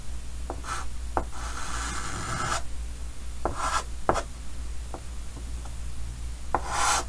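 A white chalk stick held by the fingertips scratches slow line strokes across the surface of a large, flat, dark green chalkboard with a wooden frame. Dry, rasping strokes with a bright, hissy edge alternate with short, sharp taps as the chalk meets the board. A steady low hum runs underneath throughout.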